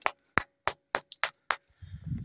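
A ringing "bell stone" in a rock outcrop in Brazil's caatinga, one of a series of named rocks that each give a different tone, is struck repeatedly. Each sharp hit gives a short, bright, clinking, glass-like ring that dies away quickly. A low, rough rumble follows the final strike.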